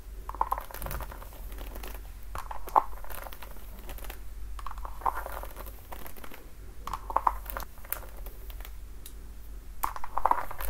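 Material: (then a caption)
Patent leather. Long nails tap and scratch along the heel, platform and straps of a worn red patent-leather platform high heel. Quick, dry clicks with a short ringing tone near 1 kHz recur in small clusters over a soft scratchy, crinkling texture. A steady low hum runs underneath.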